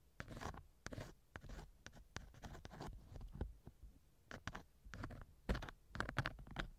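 A thin wooden earpick scratches inside the left ear canal of a small hollow silicone ear model on a binaural microphone. Rapid bursts of close, dry scratching and rubbing come in quick strokes, heavy in low rumble with a faint bright rasp. Each stroke stops dead with no ring.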